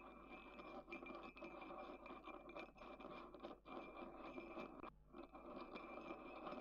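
A thin wooden stick scratches around the inside of a small, dark grey, matte ceramic mug with a handle, which stands on a table and appears empty. The result is a steady, dry, gritty scratching in the mid range with small rhythmic swells and a brief dip near the five-second mark, over a faint steady tone near 2.5 kHz.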